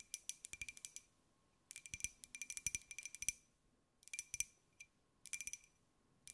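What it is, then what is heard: Ceramic jar tapped with fingernails. A small, hollow white glazed ceramic jar with a pineapple print is held in the hands and tapped with long nails. The taps come in quick bursts of bright, dry clicks, with short pauses between the bursts.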